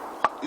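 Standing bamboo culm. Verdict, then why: Mature. A single tap on a standing king bamboo culm, done to judge its age while picking bamboo for bamboo sap (jukryeok), gives one short, dull knock centered around 1.1 kHz that dies away almost at once. The dull sound marks a mature culm of three or more years, which has better medicinal quality than the clear, bright-sounding one-year bamboo, so it is chosen and cut.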